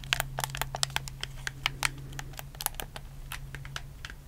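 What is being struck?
Plastic game controller.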